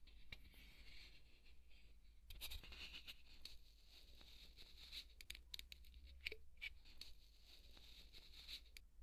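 A thin wooden skewer scratches a large, white, solid polystyrene foam ball, making dense squeaky scraping and crinkly scratches with a bright edge near 2.4 kHz. The scratching runs steadily for about nine seconds with short sharper bursts over a constant low hum.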